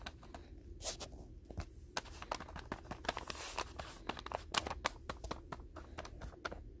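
Fingertips and short nails tap and scratch the white paper wrapper, with its blue label, on a solid, densely filled rectangular pack of 200 non-sterile gauze pads lying on a table. Quick, dry, crisp taps mix with scratchy paper rustles, each sound bright and short with almost no ring, over a faint low rumble.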